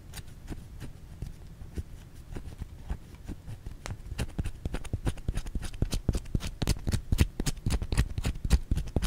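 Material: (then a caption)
Soap. Long fingernails scratch a white solid bar of soap held in the hand, making a quick, uneven run of sharp, bright scratchy clicks over a soft low rumble. The clicks grow louder and denser toward the end.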